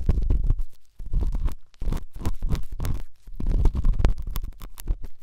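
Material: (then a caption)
Silicone. A silver pen tip rubs and scratches inside the ear canal of the right white silicone dummy ear on a binaural microphone. The result is close, muffled, low rumbling scrapes in dense bursts, broken by a few brief quiet gaps.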